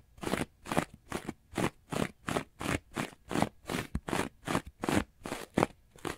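A hand-sized rectangular orange textured foam sponge, porous and soft, is held upright in one hand and scratched quickly and aggressively with the fingernails of the other. It makes a steady run of short, dry, crunchy scratching bursts in a brisk uneven rhythm, each with a bright, airy texture and no ring afterward.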